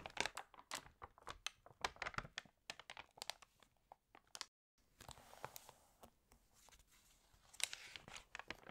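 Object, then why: Glossy paper catalog. Fingernails tap quickly on the glossy paper pages of a water-damaged fashion catalog, making sharp, bright clicks and crisp crinkles with almost no low end. After a brief silent break, a page is flipped with a rustling, crinkling sweep, followed by more light taps and crackles.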